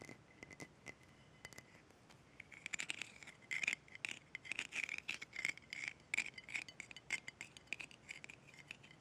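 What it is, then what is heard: Small glass jar with metal lid. A small clear glass jar with a gold metal screw lid is held in the hands while long red nails tap and scratch its glass sides. Light, bright clicks and taps with a thin ringing tone sound at first, then come in quicker bursts of scratching and clinking. The taps are short and crisp, with almost no low end.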